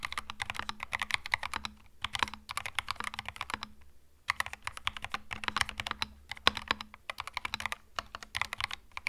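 Fingertips type on a compact cream mechanical keyboard with plastic keycaps, producing rapid, bright, crisp clacks with very short decay. The keystrokes come in dense bursts with brief pauses near 2 and 4 seconds, over a faint steady low hum.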